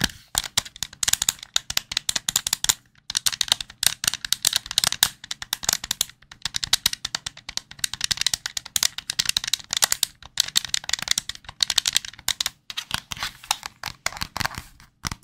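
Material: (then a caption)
Plastic. Fingertips tap and press the buttons and shell of a hollow, white, handheld plastic gamepad held close to the mic. The result is rapid bursts of bright, dry plastic clicks and taps with almost no low end, broken by brief pauses around 3 and 6 seconds.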